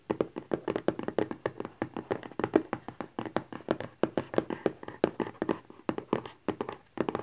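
A small, rigid cardboard smartphone box lying flat is tapped rapidly with fingertips and nails, with some scratching in between. Over forty quick, dry, hollow taps centred around 320 Hz die away almost instantly, forming a steady, uneven patter across the clip.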